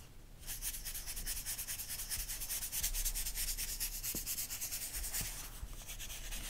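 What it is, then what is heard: Glossy paper magazine page. A makeup-style brush with a wooden handle is swept and rubbed across a photo spread in an open magazine with thin glossy paper pages, lying flat on a fluffy rug. After a brief quiet start, a steady, bright, papery hiss of rhythmic back-and-forth brushing strokes continues to the end.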